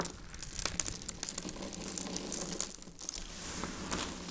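A heap of dried white soap shavings is crushed and rubbed between both hands, with the fingertips grinding the flakes into powder. Dense, bright crinkling and crunching crackles run throughout, with sharper snaps scattered across the clip and a brief quieter dip near the three-second mark.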